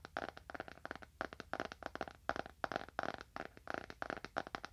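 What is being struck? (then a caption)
Leather-bound book. A dark, solid leather-bound book, held horizontally in both hands, is tapped on its top surface with fingernails. About 25 quick, dry clicks fall in an uneven rhythm, each with a mid-range knock and almost no ring.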